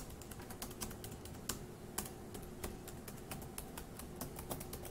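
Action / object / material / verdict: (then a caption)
tap / plastic laptop keyboard / plastic / none. One hand's fingertips quickly tap the plastic keys of a dark grey laptop keyboard. The result is a fast, uneven run of short, dry clicks over a steady low background hum, with a few harder, brighter taps standing out.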